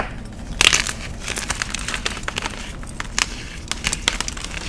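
A solid, palm-sized white block of magnesium carbonate gym chalk is crushed and crumbled in the fingers of one hand, with powder and chunks falling away. Dry, bright crunches and crackles come in irregular bursts over a soft, gritty crumbling.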